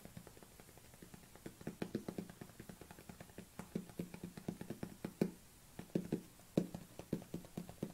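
Long nails tap the bottom and sides of a small white plastic supplement tub held tilted in the hands. A steady run of quick, quiet taps gives a short hollow knock with a low body, each fading almost at once.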